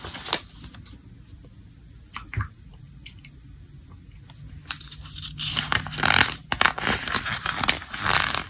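Fingertips grip the edges of a thick, glossy paper trade catalog lying open flat and turn its pages. A few soft, scattered ticks and flicks give way to louder, bright, crackling swishes and crisp rustles as the pages are turned.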